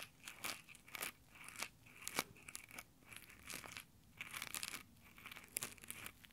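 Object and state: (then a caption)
Nylon exfoliating gloves rubbed on a microphone. Fingertips in textured nylon exfoliating gloves pinch and rub the top of a small Tascam recorder's mic grille, making crinkly scratching in a quick series of short bursts. The sound is bright and dry, with a steady ring near 2.3 kHz and almost no low end.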